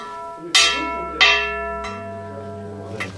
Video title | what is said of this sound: Узбекистан. Самарканд - столица империи Тамерлана. Легенды и история. Мавзолей Амир Тимура. | Si le tir est mauvais, le son sera sourd. Et le son devrait durer de 3 à 7 secondes.